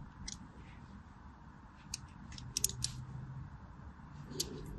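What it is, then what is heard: Soap bar scraped with scissor blade. A thin scissor blade scratches lines into the top of a solid orange Fa soap bar held in the hands. Short, bright, scratchy scrapes come in scattered bursts over a quiet low rumble, with the sharpest ones near the middle and end.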